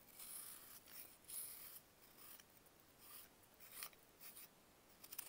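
A metal knife blade shaves and carves flakes off a small, solid grey-white block of compressed baking soda held in bare fingers with long nails, and the flakes crumble into a pile. Soft, bright scraping and crisp rasping strokes come in short bursts with pauses between them. The strokes end in a few sharp crumbly ticks.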